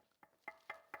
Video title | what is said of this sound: Buddy Kick 125 Prima Cowl Guard Install | you can kind of hear it there it's a solid sound